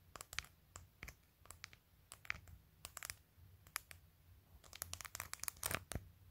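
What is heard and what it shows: Long fingernails tap quickly on the top edge of a phone in a clear plastic case with glued acrylic press-on nails, in a clicky, typing-like rhythm. Short, sharp, bright clicks come in uneven bursts over a faint low hum, and each one stops almost instantly.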